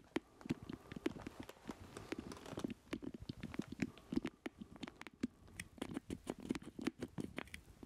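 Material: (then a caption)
Plastic. Nails and fingertips tap rapidly across the casing and around the stick of a black plastic joystick controller with a hollow base, held in both hands. A quick, uneven patter of dry, clicky taps with a hollow low-mid knock, each dying away almost instantly, with brighter nail clicks mixed in.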